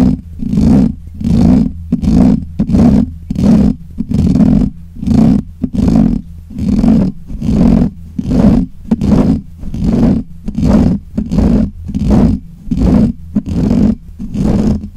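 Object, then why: Metal mesh microphone grille. Fingernails of both hands scratch the black hollow metal mesh grille of a desk microphone, producing steady, rhythmic bursts of rough, rumbling scraping. Each burst has a strong low-mid body with a bright hiss on top, and the bursts repeat at roughly 80 per minute with brief, quieter gaps between them.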